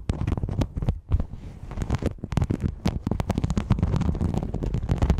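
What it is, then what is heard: Rhinestone mesh sheet. Long yellow nails scratch the studded top of a thin, flexible silver rhinestone mesh sheet laid over the microphone. The result is a dense run of quick, crackly scrapes and clicks with a heavy, muffled low-end rumble, briefly pausing before picking up again.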